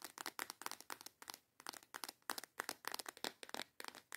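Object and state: Clear plastic box of false nail tips.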